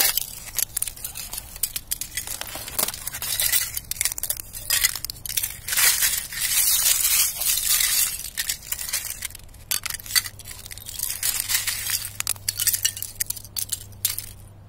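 A knit-gloved palm presses down on thin, clear ice shards lying over grass, crushing them. Dense, bright crackling and glassy clinking snaps come in waves across the clip, with a faint low hum underneath.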